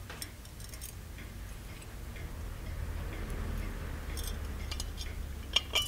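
Fingertips tap the lid and embossed body of a small, ornate, hollow gold-plated metal genie lamp on a pedestal base. The taps are light and sharp, with a bright metallic ping around 3.2 kHz that dies away almost at once. Soft ticking sounds run over a steady low rumble, and the last two taps near the end stand out loudest.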